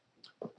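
Two quick knocks on a new toolbox made of real wood, given as a "knock on wood" gesture for luck. The first is a light, brighter tap; the second is a louder, hollow knock with a woody midrange tone around 430 Hz. Each dies away almost at once.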